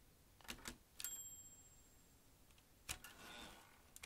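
An old manual metal typewriter with metal typebars and round keys is typed with the fingertips, so the keys strike the mechanism in sharp, bright clacks. A thin high ringing tone trails after one early strike. A longer pause then comes before another cluster of clacks with a soft mechanical rustle.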